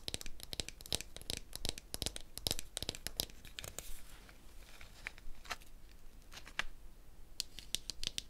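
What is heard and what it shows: A medium hollow dried gourd with a handle, covered in a string net of small wooden beads, is held close and its beads are rubbed and flicked with painted fingernails. Dense, bright, dry clicks and scratchy rattles crowd the first four seconds, ease into a softer rustling stretch, then return as scattered sharp ticks near the end.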